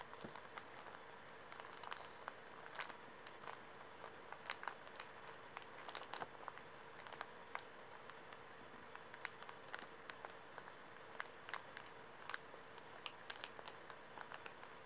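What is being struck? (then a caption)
Pocket tissue pack in plastic film. A small, soft pocket tissue pack wrapped in plastic film is held in the hands while fingers squeeze and crinkle it and nails scratch the wrapper. Quiet, continuous crinkling and scratching is punctuated by many sharp, bright clicks and crackles over a steady low hum.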